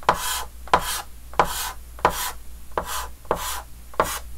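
A red chalk stick held in the fingers scratches and rubs hatching strokes across a large, flat, dark green wooden-framed chalkboard. Seven separate strokes are heard, each starting with a sharp scrape and trailing into a bright, hissy rasp. They come at a steady, unhurried pace.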